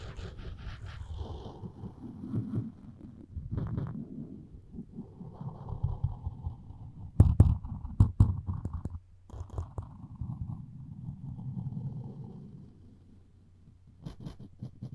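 The string of a floss pick is scraped across the edge of a solid wooden spoon handle, making a low, rumbling scrape with uneven, rough texture. Louder sharp scratchy bursts stand out around the middle of the clip before it settles back to quieter, muffled rubbing.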